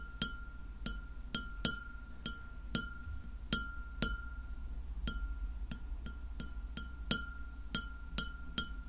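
Long fingernails tap a white glass plate lying flat, giving 16 sharp, bright clinks spread unevenly over about nine seconds. Each clink rings briefly with a steady high tone lingering between taps, over a low background hum.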